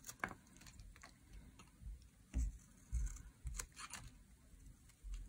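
A metal blade shaves curls off a solid teal bar of dry soap. Quiet, crisp scrapes and short bright ticks come at an uneven pace, each with a soft low thud underneath and almost no ring after.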